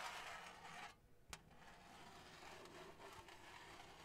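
Long acrylic nails scratch and rub across a flat, thin, printed blue-and-gold cardboard Hanukkah placemat with a menorah design, held against the mic. A loud, bright rasping rub gives way to a brief quieter gap, then a single sharp tap. Softer, steady scratching follows.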